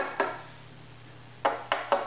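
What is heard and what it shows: Four light taps on the center of a strung violin's wooden top, between the small holes and the f-holes, each giving a short, ringing knock. The top was pre-tuned to 176 Hz so its tap tone serves as the reference pitch for tuning the bridge.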